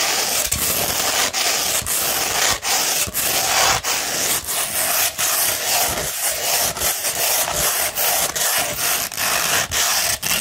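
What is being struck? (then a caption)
Coarse sandpaper sheet scratched with fingernails. Long pointed red nails scratch along a sheet of coarse beige sandpaper, likely 60 grit, rolled into a large hollow cone or tube and held in one hand. The result is a steady, bright, gritty rasping with almost no low end, broken by short gaps between repeated strokes.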